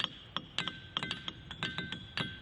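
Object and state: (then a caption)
Ringing diabase boulder, rings when struck. A diabase/pyroxenite igneous boulder at Ringing Rocks County Park is struck repeatedly with a hammer in an uneven series of sharp strikes. Each strike gives a bright, metallic clink centered near 3.1 kHz, with a fainter lower tone around 1.5 kHz on some hits. The ring dies away quickly. This boulder has not been banged on before, so it still works and rings.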